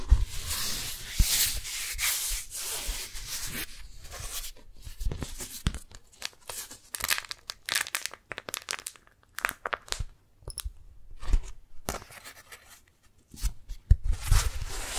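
A thin, flexible pink daisy-print beeswax-coated cotton food wrap is held in both hands while fingertips and long nails peel apart its stuck folds and crinkle it. Sticky, tearing peels and dry crinkles come in dense bursts, broken by short quiet gaps. Loud stretches at the start and end are full of bright crackle.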